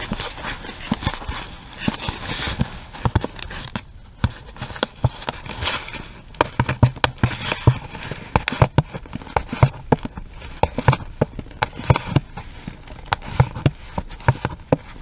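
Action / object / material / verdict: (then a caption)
tap / small cardboard box with plastic window / cardboard / none. Long red nails tap and scratch a small, hollow pink cardboard box that has a round plastic window and a red item inside. Scratchy rustling gives way to a long run of quick, dry taps with short hollow thumps low in pitch. Each tap dies away almost at once.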